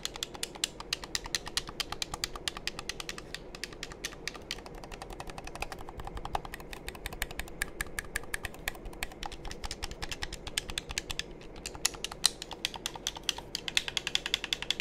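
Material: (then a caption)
Plastic. Fingertips click the buttons and tap the shell of a hollow, black hand-held plastic game controller held close to the microphone. The result is a rapid, steady stream of crisp, bright clicks and light taps that stop short with almost no ring, over a faint low hush.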